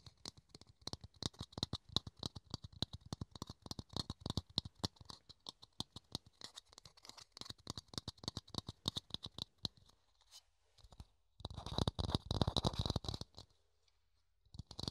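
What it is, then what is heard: Clear plastic dome lid. A small, hollow, empty clear plastic dome lid is held in the hands and tapped and scratched with the fingertips and nails. Quick, uneven light taps give short, dry clicks with a hollow low thump and a bright plastic tick. After a brief lull, a denser burst of scratching and rapid tapping follows, with a few more taps at the end.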